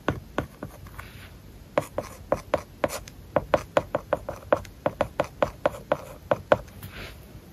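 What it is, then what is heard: Stylus writing on a tablet with matte paper-like film. A stylus writes characters and words on an iPad screen covered with a matte, paper-like plastic film. It makes a quick series of short, dry tapping and scratching strokes with a faint mid-pitched tick and almost no ring. The strokes come in bursts with brief pauses between them.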